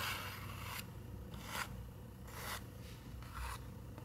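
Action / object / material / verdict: scrape / paper picture book page / paper / none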